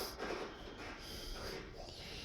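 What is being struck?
Nothing is struck.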